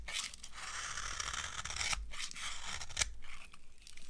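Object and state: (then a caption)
Dry soap bar being carved. A dry beige solid soap bar is carved with a metal blade, giving a steady, crunchy scraping with a bright, hissy texture. Short louder crunches stand out near the two- and three-second marks.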